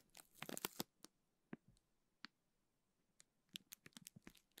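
Fingertips squeeze, rub and crinkle a clear plastic zip bag full of teal gel beads. A dense, bright rustle of crackling plastic opens the clip, followed by sparser sharp crinkles and crisp ticks, then a final quick cluster of crackles.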